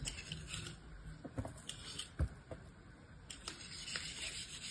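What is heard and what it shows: A bear-shaped block of beige kinetic sand sits in a yellow plastic mold held in one hand while a metal utility-knife blade scrapes and cuts across its surface. The result is a series of quiet, crunchy scraping strokes with short, bright, gritty bursts over a soft low rumble.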